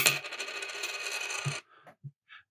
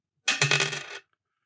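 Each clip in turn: First: nickel dime, clicks without ringing. Second: silver dime, rings.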